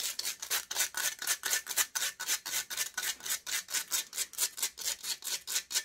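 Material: Metal mesh.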